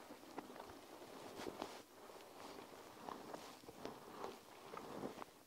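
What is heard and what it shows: Long nails scratch and squeeze a plastic panda gel-bead eye mask draped over the recorder, producing soft, continuous crinkly rustling with quick, brighter clicks and pops from the beads. The sound stays quiet and has almost no low end.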